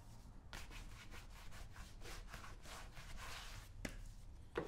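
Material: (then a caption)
Wax. Fingertips rub and swirl the brown shoe wax in a small, round, open metal tin held in the palm, making soft, rhythmic swishing strokes over a quiet low rumble. Near the end, two sharp, bright ticks stand out against the rubbing.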